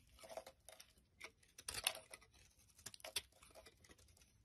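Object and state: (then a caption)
Soap bar being shaved with a blade. A solid white soap bar held in the hand is shaved and scraped with a metal utility knife blade, with flakes falling onto a wooden surface. The clip is a quiet, irregular series of short, dry, bright scraping strokes with crisp crackle and almost no low end, the loudest cuts landing near the middle.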